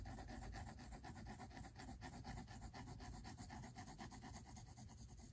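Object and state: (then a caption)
Pencil sketching on paper. A pink mechanical pencil rubs and scratches long and short strokes across the white paper of a spiral-bound sketchbook resting on a table. The result is a steady, dry scratching with a quick, uneven rhythm, mostly low in body with faint brighter grain on top.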